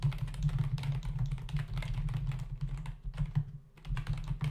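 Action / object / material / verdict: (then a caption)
tap / plastic membrane computer keyboard / plastic / none. Rapid typing with the fingertips of both hands on a black plastic membrane desktop keyboard with hollow key caps produces a dense stream of short, dry clicking taps. A steady low hum near 145 Hz runs underneath the keystrokes, with a brief lull just before the fourth second.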